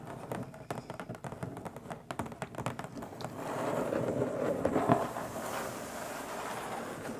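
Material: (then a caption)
Cardboard. Long stiletto nails tap rapidly on the top of a long, flat, printed hollow cardboard box, giving quick, dry, hollow clicks with a slight resonance near 690 Hz. After about three seconds the tapping blurs into a louder, continuous hollow rustle that peaks near the five-second mark, then eases off.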